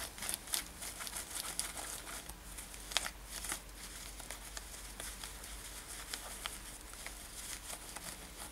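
Long nails scratch the front of a worn light-blue denim top with brown lacing. Dry, bright scratching and crinkling strokes come in quick, uneven bursts over a faint, steady low hum.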